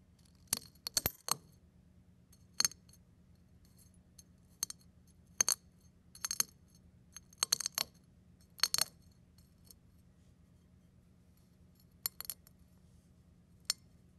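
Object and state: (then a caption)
Crushed eggshell pieces. A fingertip repeatedly presses down on a pile of thin, brittle brown and white eggshell flakes on a plate, crushing them. Sharp, bright crackles and crunches come in scattered bursts, each dying away almost instantly. A faint, steady low hum sits underneath.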